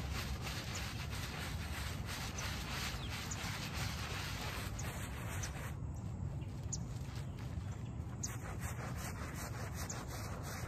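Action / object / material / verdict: scrape / soapy shag-pile textile rug scrubbed with a bristle brush / fabric / none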